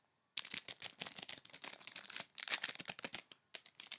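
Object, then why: Knit garment in a plastic bag. Fingertips and nails tap and scratch quickly across a clear plastic bag sealing a dark knit garment, marked with white "S" printed tape and lying flat on a bed, soft rather than hollow. After a brief silence, a rapid, dense run of bright, crisp crinkling taps and scratches follows, with almost no low end and no ring after each touch.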